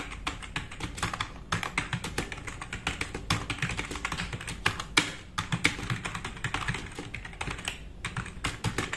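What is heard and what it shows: Both hands type fast with their fingertips on a compact, RGB-backlit mechanical keyboard with black plastic keycaps resting on a wooden desk. The result is a dense, continuous stream of sharp plastic clacks that fade quickly, with bright click transients over a soft low thump from each key bottoming out.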